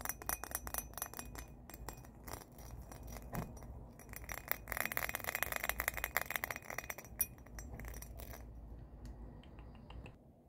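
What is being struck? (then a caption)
Small cut-crystal glass or bowl. A small, hollow, empty cut-crystal glass or bowl with a faceted pattern is held in both hands and tapped and clinked with long painted fingernails. Rapid, dense, bright clicks and clinks come with a faint glassy ring near 1.9 kHz that dies away almost at once, over a low background hum.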